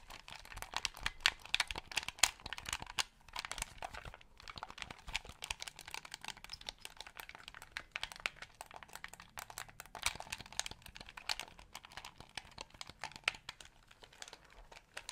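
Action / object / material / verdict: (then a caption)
tap / plastic game controller / plastic / none. Fingertips and nails tap a small white hollow plastic game controller held in both hands beside the microphone, pressing and clicking its buttons and sticks. The result is a quiet, steady stream of rapid, dry, bright clicks and taps with almost no ring, with brief pauses between clusters.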